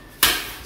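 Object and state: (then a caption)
Sourdough loaf, hollow (baked through). A single tap on the bottom of a sourdough loaf, just out of the oven after 30 to 40 minutes, checking whether it is done. It gives a sharp, bright, hollow, drum-like knock with a short ring that fades over about half a second. The hollow sound shows the loaf is baked through and ready.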